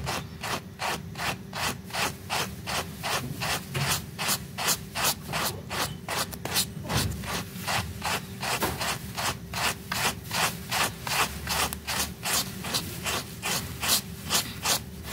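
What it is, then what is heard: Wet fabric rug being scrubbed. A blue plastic bristle brush scrubs a small, flat, woven pink fabric rug that is wet and foamy. It makes a steady, regular series of 32 quick rasping strokes with bright, hissy scrubbing and a faint low hum underneath. Each stroke is short and dry, with almost no ring.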